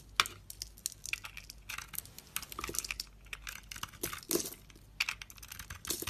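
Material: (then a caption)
Soap. A utility blade cuts and scrapes crumbly pieces off a solid bar of soap with a red rim and white inside, held in one hand. Quick, dry, bright scraping strokes and crisp little cuts come in uneven bursts, with almost no low end and no ringing after each stroke.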